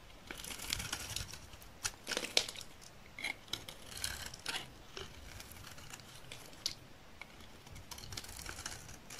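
A metal utility knife blade shaves a solid, rectangular, dry green olive oil soap bar held in the hand into thin curls. It makes a bright, crinkly scraping in uneven bursts, with sharp crackling peaks and little low end. The strokes are quiet and close, with almost no ring after each one.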